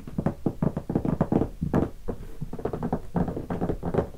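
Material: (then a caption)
Leatherette. Fingertips rapidly tap the top of a closed, hollow guitar hard case covered in black leatherette with stickers, lying on carpet. The result is a quick, uneven stream of dull, low, hollow knocks, each dying away almost instantly, with little brightness.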